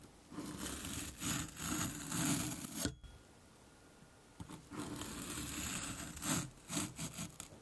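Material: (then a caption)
Kinetic sand. A metal fork's tines are dragged across the surface of a hand-sized solid sphere of moulded orange kinetic sand, held in one hand over a dark cloth, scraping grooves and shedding crumbs. Gritty, broadband scraping comes in two sustained stretches with a few sharper bursts, separated by a brief near-silent pause.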